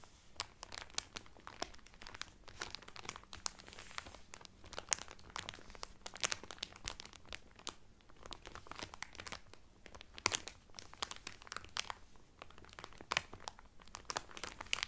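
Fingertips and nails crinkle and rub clear cellophane film wrapped over a cotton towel. The result is a continuous stream of sharp, bright crackles and crisp snaps with rustling between them, each sound cut off almost instantly.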